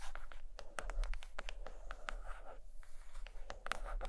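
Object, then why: Hardcover book cover. Long green nails tap and scratch quickly across the cover of a large, solid purple hardcover book resting on a blanket. The result is a quiet, steady run of short, dry clicks mixed with light scratchy rasping over a low, soft rumble.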